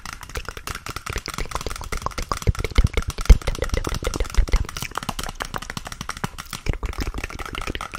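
Long nails tap and scratch up close on the surface of a small, empty, hollow grey cardboard toilet roll tube. The result is a quick, continuous run of dry, muffled taps with a soft scratching texture, heavy in low thuds and with almost no ring after each hit.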